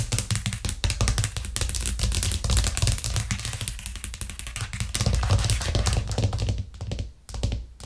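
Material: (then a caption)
Plastic. Long nails tap quickly on a white plastic cutting board with green edges, which rests flat on a cork trivet. The rapid, dense clicking has a low, hollow thump under bright nail ticks. It keeps up steadily before thinning into a few softer taps near the end.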